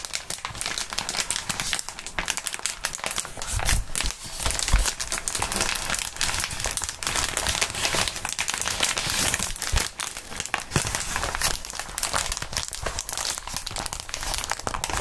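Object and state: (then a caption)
Plastic bubble wrap. A wad of clear plastic bubble wrap is crumpled and squeezed between fingerless-gloved hands and fingertips. It makes a steady, dense stream of bright crinkling and crackling, with occasional soft low thumps. The sound stays close and even throughout.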